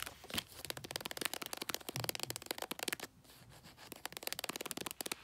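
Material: Paper.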